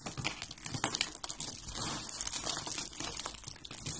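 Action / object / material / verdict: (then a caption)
scrape / soap curls and flakes / soap / none. Fingers with red nails crumble and crush a yellow and white dry soap roll and flakes. The result is a steady run of dry, bright crinkling and crunching with many quick, sharp crackles and little low end.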